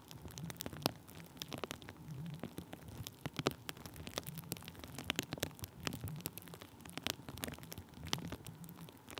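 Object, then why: Thin plastic bubble wrap rubbed with a wooden stick. Thin, clear plastic bubble wrap stretched over a microphone is pressed and rubbed with the tip of a wooden stick. It makes a steady, dense crackle with sharp, bright clicks and pops over a soft low rustling rumble, like rain on a surface.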